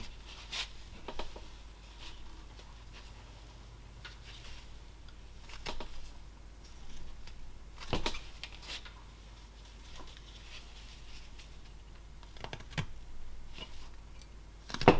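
A small solid block of lime/basswood, held in a gloved hand, is shaved and whittled with a carving knife blade. Quiet scraping and slicing cuts come in short, irregular bursts over a low steady hum, with a sharper cut near the end.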